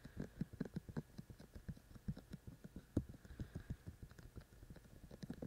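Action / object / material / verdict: tap / binaural microphone with soft silicone ear shells / silicone / none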